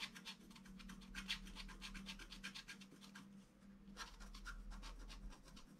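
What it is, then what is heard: Scratch-art board being scratched. A wooden stylus scratches small details near the figure on a flat black-coated scratch-art card. Quick, uneven, bright scratching strokes come at roughly four per second, each dry and short, over a steady low hum.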